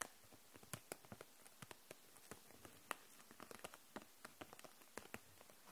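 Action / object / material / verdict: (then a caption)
tap / plastic case of markers / plastic / none. Long nails tap the caps of dual-tip markers and the clear plastic case holding them upright, making about eighteen short, crisp clicks at an uneven, gentle pace. Each tap is a dry, bright tick that dies away almost instantly over a quiet, hissy background.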